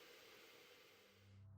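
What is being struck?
Nothing is struck.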